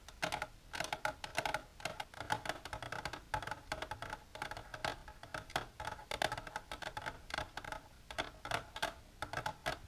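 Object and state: Empty plastic container.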